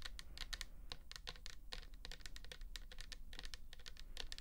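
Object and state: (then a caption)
Plastic toner bottle. Long nails tap rapidly on the label of a pink plastic toner bottle filled with liquid. They make a quick, steady patter of short, bright clicks that die away almost instantly, over a low, constant hum.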